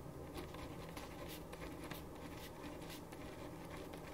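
A ballpoint pen writes on a thin printed paper sheet lying flat on a wooden desk, making soft, bright scratching strokes. The quiet, continuous scratching runs over a steady low hum.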